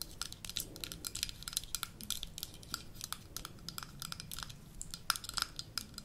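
Long nails tap rapidly and continuously on the gold metal lid of a small amber glass jar held close up. Each tap gives a short, bright click with a faint metallic tone near 1.35 kHz that dies away almost at once, over a low background hiss.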